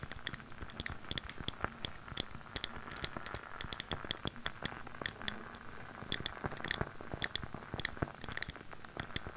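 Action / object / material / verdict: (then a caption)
tap / glass candle jar / glass / none. Long nails tap and scratch the glass surface of a lit glass jar candle held close to the microphone. Quick, irregular bright clinks die away almost at once, with soft scratchy friction filling the gaps between them.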